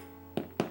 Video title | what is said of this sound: Follow the Sourdough - Day 8: We Bake Bread | that Hollow sound when you tap it you know it's cooked